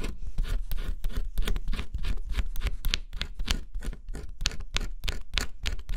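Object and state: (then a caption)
Scratch-off cardboard puzzle being scratched. A small metal stylus held in the fingertips scratches the black scratch-off coating on a flat, solid cardboard jigsaw puzzle. Quick, repeated scratching strokes make dry, bright rasping bursts over a steady low rumble, continuing without pause.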